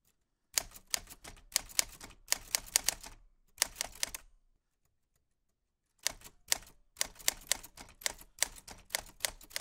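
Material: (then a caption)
Metal. White-gloved fingertips type on a black 1940s Smith-Corona portable typewriter with a metal body, round keys and paper loaded. Bursts of sharp, bright key clicks and typebar strikes stop briefly before the typing resumes. Each strike is crisp and dies away almost at once.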